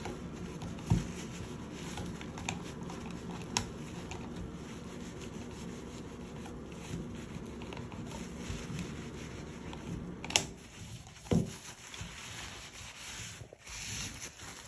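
Gloved fingers rub and wipe a flat, thin white plastic triple toggle light switch wall plate, mounted on a textured wall, with a paper wipe. A steady soft scrubbing hiss runs throughout, broken by five short, sharp taps. The sound quiets briefly after the last tap before the rubbing resumes.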